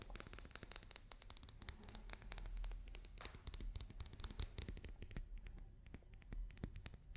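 A papier-mâché daruma doll is tapped and scratched with fingers and nails. The result is a quick, uneven run of short, dry taps mixed with scratchy rustling, and each tap dies away almost instantly. Most of the sound's weight sits in a low thump, with brief bright clicks on top.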